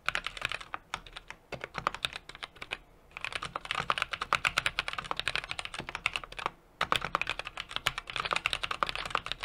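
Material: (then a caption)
Plastic, metal. Fingertips of both hands type rapidly on a small 60% mechanical keyboard with an aluminum case, brass plate and plastic keycaps. Dense bursts of short, bright, clicky key taps die away almost instantly. Brief pauses near 1, 3 and 6.7 seconds separate the runs.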